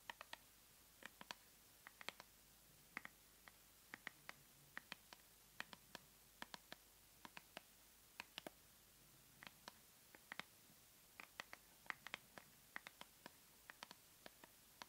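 Long nails tap and scratch the surface and edges of a small white paperboard cosmetic box, held in both hands and hollow with the product inside. Dozens of quick, dry, bright clicks land in irregular bursts over a faint, quiet background. Each tap dies away almost instantly, with a light scratchy texture between some strokes.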